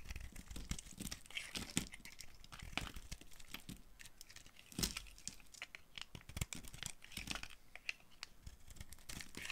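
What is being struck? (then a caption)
Bar of soap carved with a knife. A green-handled knife shaves and carves flakes from a hand-sized, pink-and-white marbled bar of dry Fax soap held in one hand with long nails. A steady run of crisp, dry scraping and crunching is heard, with bright, crackly bursts as the flakes break away.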